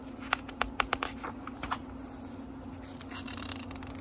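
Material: Paper.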